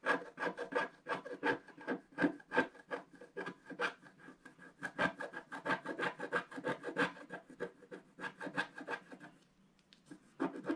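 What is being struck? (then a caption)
Scratch-art paper sheet scraped with a wooden stylus. A wooden stylus scratches continuously across a flat, black-coated scratch-art paper sheet. Quick, dry, raspy strokes repeat in an uneven rhythm, each a short bright scrape with no ringing. The strokes briefly fade to near-silence near the end, then resume.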